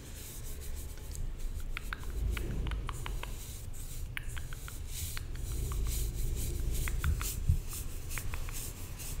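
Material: Aluminium.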